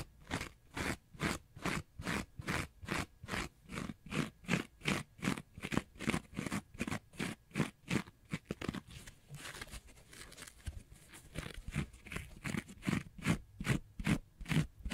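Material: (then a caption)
Foam. Fingernails scratch a small rectangular block of orange porous synthetic sponge with holes, making rapid, steady crunchy scraping strokes at about two and a half per second. Each stroke is a short, dry burst with a low body and a bright, airy top. The strokes soften into a quieter, smeared rustle for a couple of seconds midway before the sharp rhythm resumes.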